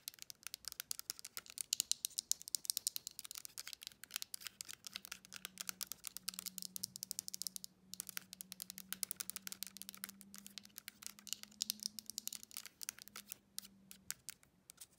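Long nails rapidly tap and press the buttons of a slim silver plastic TV remote with a round navigation pad. The result is a fast, steady stream of short, crisp, high-pitched clicks. A faint low hum sits underneath through most of the clip.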